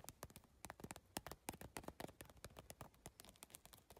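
Long nails and fingertips tap rapidly on the iridescent triangular plastic tiles of a holographic geometric PVC tile bag. The result is a quick, uneven stream of short, dry, bright clicks with soft low thumps underneath. Each tap dies away almost instantly.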